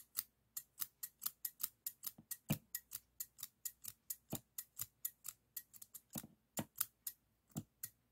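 Stainless steel thinning shears, a solid metal tool, are held close and worked by the fingers on the handles so the blades snip and the pivot clicks. About 33 quick, crisp metallic snips follow in a steady rhythm, each dying away almost instantly with a bright, high edge and a faint low thud, in an otherwise quiet space.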